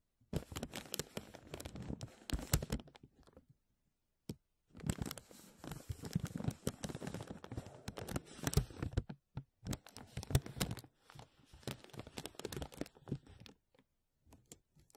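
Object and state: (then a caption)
Crinkling thin plastic bag. A thin, empty clear plastic film bag stretched over a mesh microphone is pressed, rubbed and grasped by fingertips and short nails. Dense bursts of close crinkling and crackling come in uneven clusters, separated by brief silences and a few isolated snaps.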